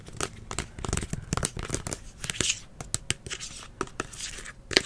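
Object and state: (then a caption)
Plastic spray bottle. Fingers and nails scratch and tap along the body and blue nozzle of a hollow green plastic spray bottle held up close. Quick, dry, crinkly clicks and scrapes sound bright and papery, each dying out almost at once over a quiet background.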